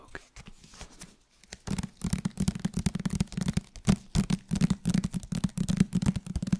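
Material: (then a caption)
Paper. Fingertips tap and scratch the paper cover and solid page block of a paperback book. Soft, papery scratching opens the clip, then gives way to quick, irregular taps with a low, muffled thump. Each tap stops dry and short, with almost no ring.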